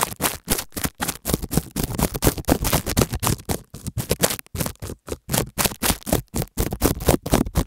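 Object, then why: Plastic bubble wrap scraped with a plastic stick. A thin white plastic stick scratches and scrapes across a small sheet of clear plastic bubble wrap taped flat over an earphone cable mic on a dark table. The result is a close, rough run of quick scraping strokes with crackly, broadband texture and a heavy low-end rumble. The strokes come in short, uneven bursts separated by brief silences.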